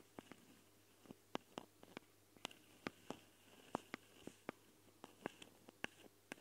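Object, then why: Metal mesh microphone grille. Long dark fingernails of both hands scratch the metal mesh grilles over the twin mic capsules of a small Tascam recorder, with the fingertips held close to the capsules. About 17 sharp, brief scratching clicks ring out at an irregular pace, bright and crisp, over a quiet low background hum.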